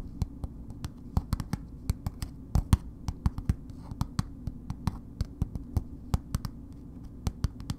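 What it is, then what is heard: Paper-wrapped bar soap. A solid bar of soap in a red paper wrapper, held upright, is tapped with long nails in an irregular, unhurried rhythm. About 34 short, dry clicking taps ring out, each dying away almost instantly, over a steady low background hum.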